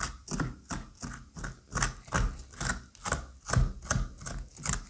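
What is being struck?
Pumpkin flesh scraped with a curette.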